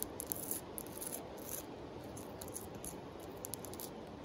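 Long acrylic nails scratch and tap the surface of a palm-sized, flat, rough-grained tan sandstone river rock, held in a hand and resting on a pile of larger river rocks. The result is a quiet, continuous gritty scraping with small, dry ticks scattered throughout and bright, hissy high-frequency bursts.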